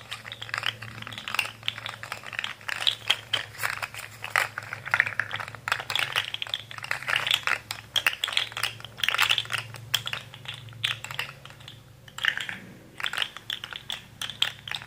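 A rainbow articulated plastic fidget slug with hollow ring segments is bent and curled with both hands, making rapid, dense clicking as its joints snap against each other. The clicks are sharp and bright with almost no ring, coming in quick uneven bursts with a few brief pauses, over a faint steady low hum.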